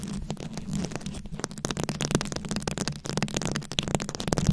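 Long nails slowly scratch and tap across a rhinestone-studded microphone head. A steady stream of close, crackly scratches and sharp clicking taps is heard over a low, rumbling hum, with bright, brittle edges on each tap.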